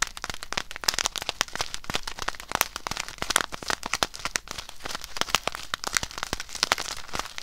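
A small clear plastic bag filled with white rice-like grains is held in both hands, squeezed and scratched with long acrylic nails. It makes a dense, steady stream of sharp, bright crinkles and crackles with short grainy crunches and no ring-out.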